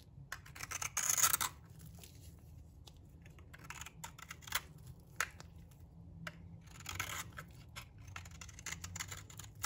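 A solid, dry blue bar of soap held in the hand is scraped and shaved with a metal blade. Short, crisp, bright scraping strokes come in bursts, loudest near the start, over a quiet low hum.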